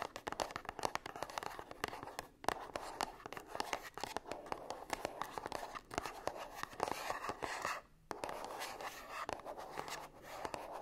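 Long nails tap and scratch the front and sides of a small gold cardboard perfume box standing upright and hollow, likely with a bottle inside. Quick, dry, papery clicks and rasping scratches run continuously in a steady, busy rhythm, with a brief pause near the end.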